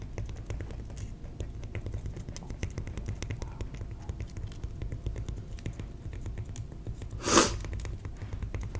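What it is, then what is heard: Cork. A piece of cork is tapped, giving a steady stream of light, dry clicks over a low, rumbling background hum. One louder, brighter tap stands out near the end before the soft clicking continues.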